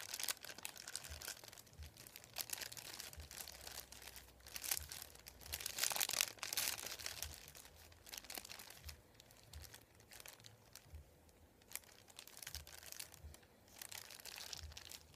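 Fingertips press, rub and crinkle the folded edge of a thin, flat sheet of printed white paper resting on a wooden table. Soft, bright crinkling and crackling go on throughout, swelling into louder, denser rustling in the middle before settling back to quieter, intermittent crackles.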